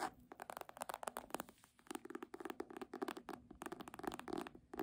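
Long nails and fingertips tap and scratch the front cover of a red embossed faux-leather hardcover book held upright. The result is a quiet, rapid run of short, dry clicks and raspy scratches with a mid-range tonal body and almost no ring.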